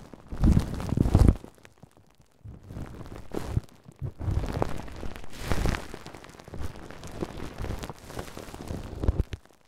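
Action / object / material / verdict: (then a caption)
scrape / plastic cling film wrapped over a microphone / plastic film / none. A large, layered ball of clear plastic cling film is wrapped over a Tascam microphone while fingertips and nails scratch and tap around its surface. The result is deep, boomy crinkling and rustling in uneven bursts, with loud muffled thumps and brief quieter gaps between them.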